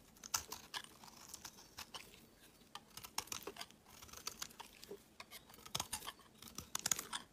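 A utility knife blade shaves and carves curls from an opaque, pale yellow solid bar of soap held in the hand. The result is a quick, irregular run of crisp, dry scraping and crackling ticks. The sound is bright and high, with almost no low end, and each cut ends sharply with no ring.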